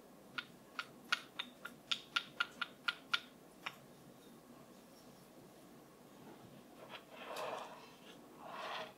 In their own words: 05:10 Wooden Brush Tapping